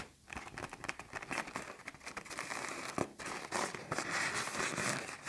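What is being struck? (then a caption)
Inflated plastic garbage bag. A large black plastic garbage bag, puffed up with air into a taut hollow shape, is tapped and scratched by fingertips and nails. Dense, irregular crinkling and crackling pops sound from the stretched film, bright and crisp, with short sharp snaps rising above a continuous rustle.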